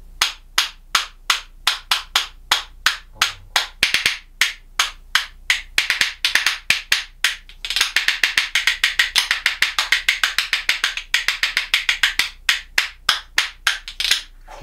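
A pair of solid Japanese yew (ichii/onko) wood percussion spoons is held in one hand and clacked rhythmically against the hand and knee. The clacks are bright, dry and very short, with almost no low end. A steady beat speeds into dense, rapid rolls in the middle, then returns to a slower pattern.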